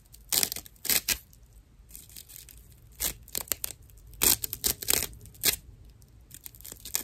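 Long nails scratch the rough surface of a dry natural loofah, a fibrous plant material, making bright, rasping scratches in quick irregular bursts. Each stroke is dry and high, with little low end, and fades almost at once between bursts against a quiet background.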